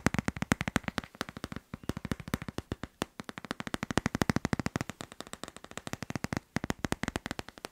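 A hand-sized hard plastic phone case with a teal tropical-leaf print, fitted on a smartphone, is tapped quickly with fingertips and long nails on its back and edges. Dozens of rapid, dry clicking taps come in fast bursts with brief pauses, each tap short and sharp with no ring.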